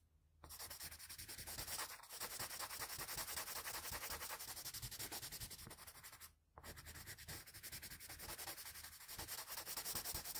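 A plain blue wooden graphite pencil, held low and angled, rubs rapid shading strokes across the cheek area on a flat sheet of drawing paper. The result is a dense, bright, scratchy rasp of quick back-and-forth strokes that runs almost continuously, broken only by a short gap near the start and a brief pause partway through.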